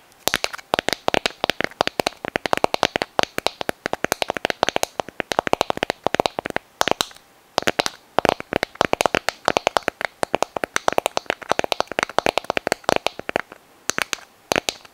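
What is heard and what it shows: A small, hollow white sand dollar test held in both hands is tapped and scratched with long nails, producing a rapid stream of sharp, dry clicks and taps. The clicks are bright, with little low end, and stop almost instantly with no ring. They continue nearly nonstop for fifteen seconds, broken only by brief pauses.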